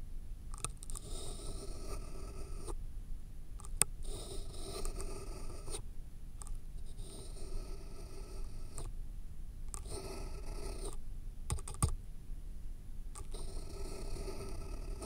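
A pen held in the fingers scratches and writes on the top sheet of a thick, solid stack of white paper sheets resting on a foam block. The scratchy writing comes in several bursts separated by short pauses, over a low steady rumble with a faint, thin high tone running throughout.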